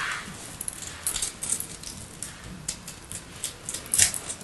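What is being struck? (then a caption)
Bar of soap scraped with a small metal blade. A hand with long light nails holds a solid, roughly cube-shaped block of white soap with purple flecks while the other hand carves and scrapes it with a small metal blade. About a dozen crisp, bright scraping and crackling ticks sound over a soft hiss, with a sharper cut near the end, as shavings pile up on a purple surface.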